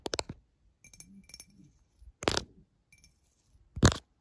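A tall, clear, empty glass drinking tumbler with water droplets inside lies on its side on a bedsheet and is tapped along its side with long fingernails. A quick burst of light clicks is followed by softer, scattered taps with a faint bright ring and a hollow low resonance. Two louder, sharper taps stand out near the middle and the end.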